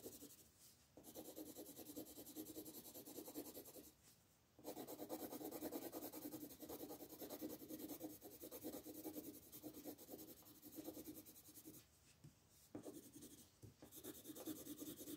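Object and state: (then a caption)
Colored pencil shading on paper. A green colored pencil scratches and shades a flat paper coloring page on a wooden table while the other hand, with red nails, rests on the sheet. The quiet, dry, raspy strokes come in quick, uneven bursts, with brief pauses near 1, 4 and 12 seconds.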